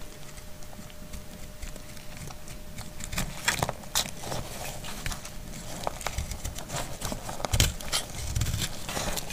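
A metal utility blade shaves a solid, dry brown household soap bar, and curls fall away. Irregular dry scraping and crisp, bright cracking cuts sound over a low rumble, with a faint steady tone in the background.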